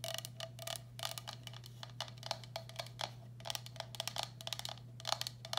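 Long black acrylic nails tap the base and rim of a medium, hollow, empty turquoise speckled glazed ceramic bowl held upside down. The result is a rapid, irregular series of short, bright clicky taps with a faint mid-pitched ring around 800 Hz that dies almost instantly. A steady low hum sits underneath throughout.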